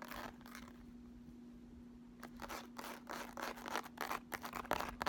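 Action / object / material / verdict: scrape / ridged plastic makeup palette case / plastic / none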